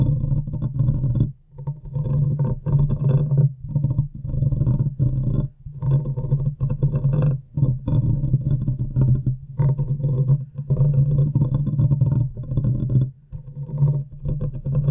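Long nails on both hands scratch and tap the hollow, domed metal wire-mesh grille of a large silver USB condenser microphone. The result is a dense, boomy low rumble of rapid scraping and soft thuds, with a faint bright rasp on top. It runs in bursts broken by brief silent gaps.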